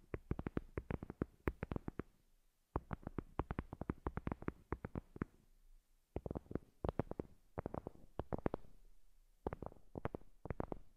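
Long glossy acrylic nails tap and scratch the surface of a flat, heart-shaped absorbent paper board coaster, thin and solid with a printed white top and a dark edge, lying on a fluffy cloth. Quick clusters of dry, dull taps with soft scratching come in bursts separated by short quiet pauses. Each tap is muffled and low-weighted, and dies away almost instantly with no ring.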